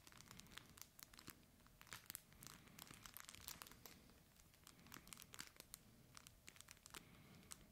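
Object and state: Fabric plush toy with crinkle filling.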